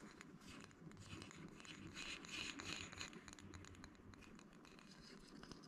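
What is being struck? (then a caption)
Small bamboo wood box. Fingertips and nails tap and scratch the top and edges of a small, flat, light, hollow bamboo wood box held close to the camera. The result is a dense, quick patter of soft clicks and scrapes with a bright, airy texture over a faint low rumble. It grows louder and busier in the middle before settling back down.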